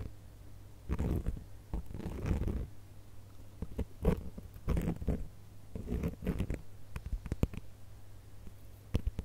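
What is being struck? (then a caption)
Glitter-coated plastic star ornament. A gold glitter plastic star ornament is held close, and fingertips and nails scratch across its glittery surface. The result is bursts of low, muffled scratching and rustling, punctuated by sharp little clicks and taps, with a faint steady hum underneath.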